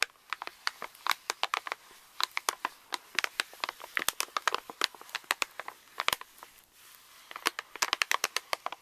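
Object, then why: Plastic foil laminate candy pouch. Fingertips and nails tap, scratch and crinkle a pink Reese's candy pouch of plastic foil laminate lying on a table. The result is a rapid, uneven string of sharp, dry crackles and clicks, bright and thin with no low end, each dying away almost instantly, with a brief lull near the middle before the crinkling picks up again.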